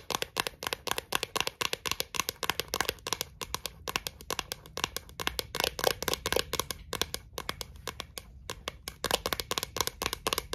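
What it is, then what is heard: Thin plastic lid tapped and scratched with long nails. Long acrylic nails tap and scratch the flat face and rim of a thin, clear, round plastic Pringles lid held between the hands. The result is a steady stream of rapid, bright, dry clicks mixed with light scratchy rasps, each tap stopping almost instantly with no ring.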